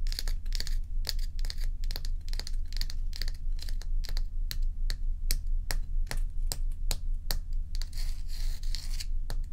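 A large solid ice dome block is held tilted and tapped and scratched with long acrylic nail tips. The result is a fast, fairly steady run of sharp, bright clicks and short scratchy bursts that die away almost instantly. They sit over a constant low hum, and a longer hissy scrape comes near the end.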